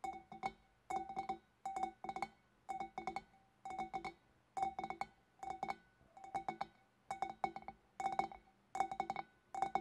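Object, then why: Glass fish bowl. Long black-polished nails on both hands tap the shoulders of a large, empty, hollow clear glass fish bowl just below its scalloped rim. The taps come in quick rhythmic clusters separated by short pauses, each a bright glassy clink with a clear tone near 785 Hz that dies away almost at once.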